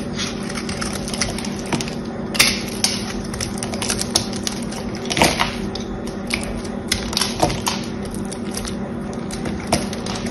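A hand-held green solid soap bar with a silver-painted face is scraped and cut with a small knife, and brittle flakes break off onto a pile of shavings. Crisp, bright scraping and sharp crackling snaps come in irregular bursts over a steady low hum.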